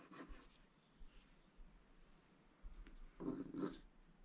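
A wooden stylus scratches away the black coating in the upper area of a flat, wax-coated scratch-art paper sheet while the other hand rests on the sheet. Soft, dry scraping comes in short, intermittent strokes with quiet pauses between them. The strokes grow louder and fuller near the end.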